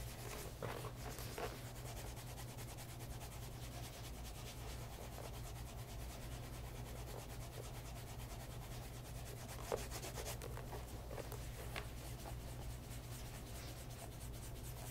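A pebble grain leather loafer, turned on its side to show its rubber-topped sole, is held in a hand while a cloth rubs along its leather side and edge. The result is a steady, soft brushing and rubbing over a low, constant hum, with a few faint ticks scattered through.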